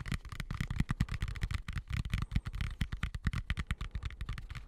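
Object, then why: Plastic colander. Fingertips and nails rapidly tap and scratch a medium, hollow, empty white plastic colander with slots, turned upside down over the microphone. The result is a steady stream of short, dull, low thumps with very little ring, layered with a light, dry scratching.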